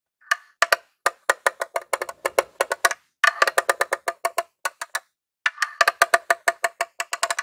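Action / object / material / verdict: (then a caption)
tap / plastic game console casing / plastic / none. A metal claw nail ring taps the top surface of a grey plastic mini Famicom-style console, a hollow box. About forty quick, dry, hollow clicks come in rapid bursts with short pauses between them. Each click has a woody tone around 680 Hz with a bright edge and dies away almost at once.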